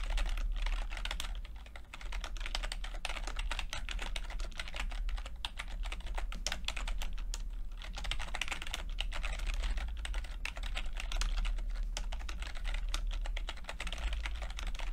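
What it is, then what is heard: Plastic computer keyboard being typed on. Fingertips of both hands type continuously on a full-size plastic computer keyboard with red and blue backlit keys and low-profile keycaps. A dense, steady stream of short, bright key clicks and taps runs throughout at an even level, over a constant low hum.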